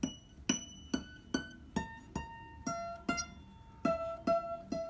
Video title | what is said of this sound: The ping test - how to check your locking nut is working - Epiphone Alex Lifeson Les Paul Axcess | You're going to hear a little bit of flex because the neck is literally, responding to the difference in pressure